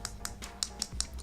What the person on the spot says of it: If you can hear that tapping, it feels like relatively cheap plastic.